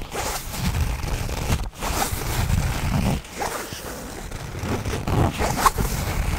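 A black nylon fabric bag, held close in front of the mic, is handled and zipped with the fingers. Heavy low-end fabric rustle and soft scraping run throughout, broken by quick rasping zipper pulls with a bright edge, in a close, intimate sound.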